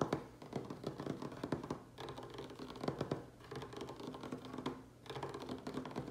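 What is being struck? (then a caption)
Wooden tabletop. Fingernails and fingertips of both hands tap and scratch fast directly on a solid, light wooden tabletop. The result is a dense run of short, dry clicks and scrapes with a warm low-mid body and almost no ring. Brief lulls fall around 2, 3.4 and 5 seconds.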